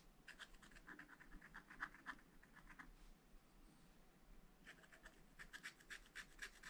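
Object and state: Scratch-art paper being scratched.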